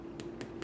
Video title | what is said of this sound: Baking! Watch Me Make My Famous Aunt Anna's Easter Bread | you can hear it it sounds hollow